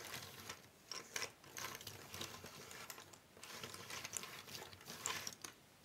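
Fingertips and long painted nails rub, spread and shuffle a large loose pile of small, thin cardboard jigsaw puzzle pieces spread on a wooden table. The result is soft, bright, dry rustling and scraping, with brief clicky bursts that rise and fall as the pieces slide against each other and the tabletop.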